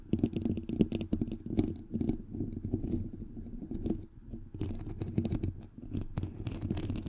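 Fingernails on both hands tap rapidly on a bare, hollow microphone head with a white perforated metal mesh grille. The taps come in dense, uneven bursts of dull, low thumps with a hollow tone around 215 Hz, each dying away almost instantly, with brief quieter stretches between flurries.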